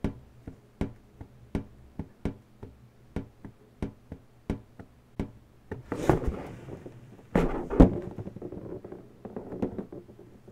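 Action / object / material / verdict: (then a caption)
tap / inflated latex balloon / latex / none. Long natural nail tips tap on an inflated, hollow pink latex balloon, producing a steady run of short, dull, low thunks. Midway the nails press and rub into the latex, adding louder squeaky, scratchy friction noise before the light tapping resumes.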